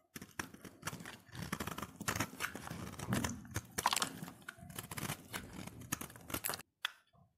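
A solid cream-white oval soap bar, held in the hand, is shaved into flakes with a utility knife blade. Each stroke gives a dry, crisp scraping crunch with bright edges, and the strokes come in quick, uneven bursts for about six and a half seconds. A few softer scrapes follow after a short gap.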